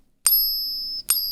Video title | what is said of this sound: A Coin Dealer Sent Me FAKE Silver and Gold! | that one's like too dull